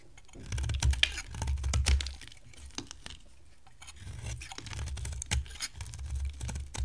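A solid, hand-sized oval bar of dry green soap is scraped and carved with a box-cutter blade by hands with long blue nails. Crisp scraping and crackly, papery clicks come in quick, dry bursts over a low rumble, with brief bright snaps where the blade catches. Each cut stops short with almost no ring.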